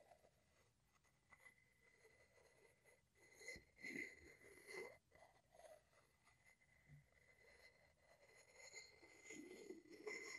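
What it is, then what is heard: Wooden mortar and pestle. A wooden pestle is scraped along the side of a hollow wooden mortar held in one hand. Quiet, dry, rasping strokes come in uneven swells over a faint steady high tone, with bright, airy scratching and a hollow woody resonance around the middle.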